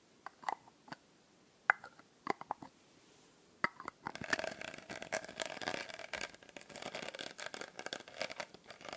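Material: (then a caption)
Glass. A small, solid-walled glass bottle with a blue glitter label is held in the hand and tapped and scratched with long nails close to the microphone. For the first four seconds, sparse, sharp, dry taps ring briefly around 1.5 kHz. Then a dense, continuous crackling scratch with bright, high texture takes over until the end.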